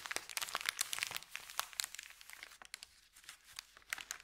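Fingertips press and rub a thin, empty, crumpled white Subway paper bag, making dense, bright crinkling and crackling with almost no low end. The sharp crackles are busiest in the first half, then thin out into softer, sparser rustles before picking up again near the end.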